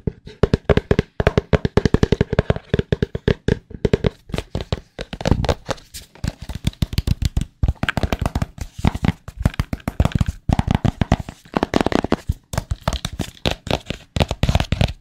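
A small, hollow, white printed cardboard AirPods Pro box is held in the hands and tapped with fingertips and nails. It gives a fast, uneven stream of dull, hollow, low-pitched taps that die away almost instantly, coming in quick bursts with brief pauses throughout.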